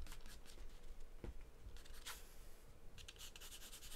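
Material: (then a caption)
Paper. A graphite or charcoal pencil held in the hand scribbles and shades across a large white paper sheet taped flat to a dark surface. Quiet, dry scratching strokes come in bright bursts over a steady low hum, with a denser flurry of strokes near the end.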